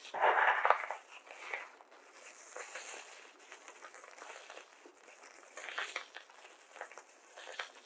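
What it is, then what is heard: Polystyrene foam beads in a glass bowl. Fingertips rub and squeeze small white polystyrene foam beads in a small glass bowl, scooping handfuls and letting them trickle, with loose beads scattered on a paper mat. A loud, dense burst of crackling opens the clip, then settles into quieter, irregular squeaky crinkles and rustles with a bright hiss and brief swells of rubbing.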